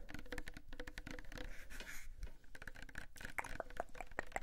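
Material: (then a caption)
Plastic. A small pink Sagrotan plastic hand soap bottle, apparently filled, is tapped quickly with fingertips and nails. The result is a dense stream of short, dry clicks and patters, with some brighter, hollow-sounding knocks toward the end.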